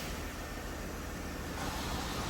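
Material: Nothing is struck.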